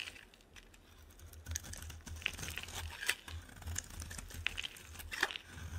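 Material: Soap.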